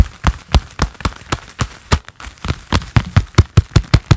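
A pair of black leather gloves worn on both hands clap and press together, making a steady series of soft, dull, low thumps with very little ring. The claps come at an even pace and then quicken and grow slightly stronger toward the end.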